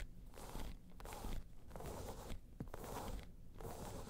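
Long pointed nails scratch and tap on top of a round tan crocodile-embossed faux leather bag. The result is a quiet, steady rustling scrape in repeated bursts, with soft dull taps and a low, muffled body.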